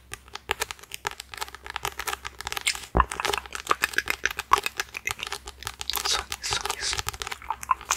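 Fingertips and short nails tap and scratch the glossy card front cover of a thick red paperback copy of the novel *1984*, held in one hand close to the microphone. The result is a steady stream of quick, dry, bright crinkling taps and scrapes with almost no low end. One sharper, louder tap lands about three seconds in.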